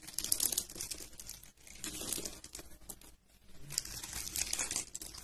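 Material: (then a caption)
Soap. A thin metal utility blade cuts and scrapes a solid brown bar of dry soap, held in a hand with purple-painted nails, into slices and cubes. Dense, bright, crunchy crackling and scraping runs throughout, easing briefly in two short quiet gaps before picking up again.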